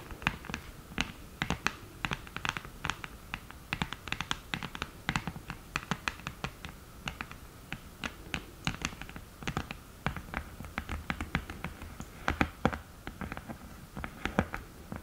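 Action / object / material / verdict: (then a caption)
tap / cardboard eyeshadow palette with mirror lid / cardboard / none. Long green nails tap and scratch the mirror lid and lid edge of an open cardboard eyeshadow palette. Quick, sharp clicks come in dense irregular bursts, each dying out almost at once, mixed with soft scratchy rasps over a low, quiet background.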